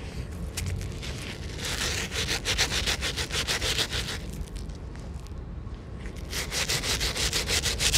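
A handheld bristle brush scrubs back and forth on the white rubber midsole and outsole of an Air Jordan 1 sneaker, which is held upright in one hand, covered in soapy foam, outdoors on a table. Rapid, fairly regular bright scrubbing strokes rasp over a low background rumble. The strokes ease into a softer, thinner stretch past the middle, then return stronger toward the end.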